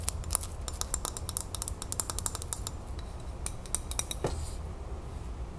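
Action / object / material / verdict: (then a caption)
tap / glass jar with metal lid / glass / none. Long nails tap quickly on a full glass salsa jar as it is tilted and turned, striking both the glass body and the rim of the lid. The result is a rapid series of sharp, bright, dry clicks with almost no ring, over a steady low rumble, with a short scraping rub near the end.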